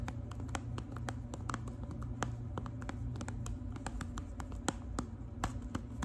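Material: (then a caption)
Foil. Long nails scratch and tap the crinkly surface of a small, rectangular, gold foil-wrapped Lipton tea package. Quick, bright clicks and rustling scrapes come in a steady, dense stream over a low, rumbling background.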